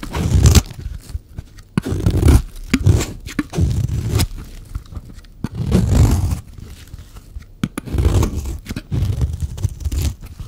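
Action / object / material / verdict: scrape / bar of soap / soap / none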